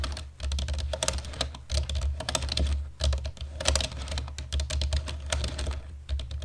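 Fast, continuous typing with the fingertips of both hands on a black plastic computer keyboard produces a dense stream of bright, short key clicks. A steady low hum runs underneath.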